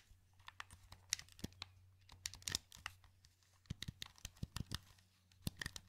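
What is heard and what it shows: A wired, hollow black plastic PS2 controller held in both hands has its buttons and joysticks clicked by fingertips, producing an irregular run of short, dry, bright plastic clicks and taps. The clicks come in quick clusters with brief pauses, over a faint steady low hum.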